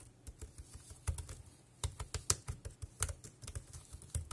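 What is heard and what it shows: Fingertips type on the round keys of a dark grey, compact plastic wireless keyboard. Quick, irregular keystrokes each give a short, dull low thump with a bright, crisp click that dies away almost at once, with a few harder strikes standing out from the steady patter.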